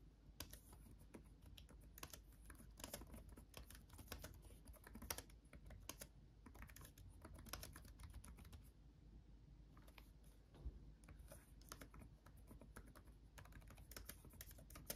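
Both hands type with their fingertips on a backlit laptop keyboard with plastic chiclet keys. The result is a steady stream of quick, dry clicks, with brief lulls, over a low, steady hum. Each keystroke dies away almost instantly.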